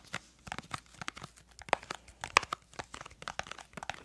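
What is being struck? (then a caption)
Small cardboard crayon box. Long acrylic nails tap and scratch a small, hollow, printed yellow-green cardboard crayon box whose contents are not visible. The result is a quick, uneven run of dry, crisp clicks and papery scrapes, with a few sharper taps standing out.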